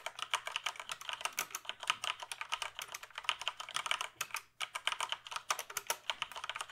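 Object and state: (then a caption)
Plastic computer keyboard. Fingertips type quickly on the keys of a full-size plastic computer keyboard held tilted. Each keystroke is a short, bright, clicky tap with very little ring and almost no low end, centered around 3 kHz. The taps run in a steady patter with a brief pause partway through.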